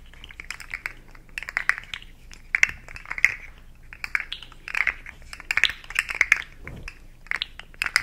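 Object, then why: Segmented plastic slug fidget toy. A hand-sized, hollow, rainbow-segmented plastic slug fidget toy is held in both hands and bent and wiggled so its segments click, while long nails scratch along its ridges. Dense bursts of sharp, bright plastic clicks and scratchy rasps come in clusters centered around 2 kHz, separated by brief pauses over a faint low hum.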